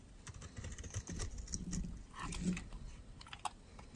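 A metal utility knife blade shaves flakes off the side of a solid white bar of dry soap held in fingers with long red nails. Soft, dry scraping and crisp little crackles come in short bursts, with a sharper tick near the end.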